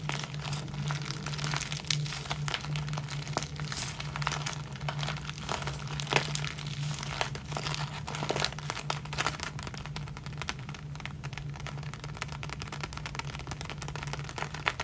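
A small clear plastic zip-lock bag full of clear elastic hair bands is crinkled, squeezed and rubbed with the fingertips. Dense, bright crackling and crinkling continues throughout, over a steady low hum.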